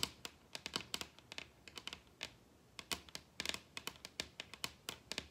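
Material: Wood.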